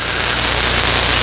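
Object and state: Nothing is struck.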